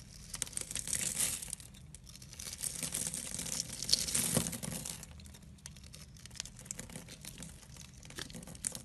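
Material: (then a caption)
Soap. A utility knife blade scores and scrapes a solid oval pink soap bar, held in a hand with dark painted nails, into small cubes. The sound is a dense, bright crinkling and crunching scrape, loudest around one second and again from three to four and a half seconds, then settling into quieter, scattered ticks and scratches.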